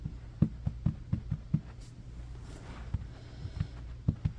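Fingertips and short nails of both hands scratch quickly back and forth across a low-pile beige synthetic carpet on a room floor. Ten short, dull, muffled low-pitched scrapes come through, six in a quick run, then a quieter pause, then four more. Each scrape stops almost at once with no ring.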